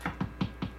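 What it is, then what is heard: Bass guitar pickup, live when tapped. A pickup on a Rickenbacker 4003s bass is tapped four times, and each tap comes through the amp as a short, low, muffled thump around 190 Hz with a little upper-midrange click. The clear taps show the pickup is live.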